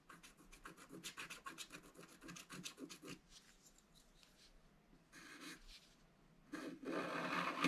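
A wooden stylus scratches the petals of a design into a black-coated scratch-art card in a book, first in rapid, evenly spaced short strokes with a dry, bright rasp. After a quieter stretch and a brief burst, it ends with a louder, continuous scratch.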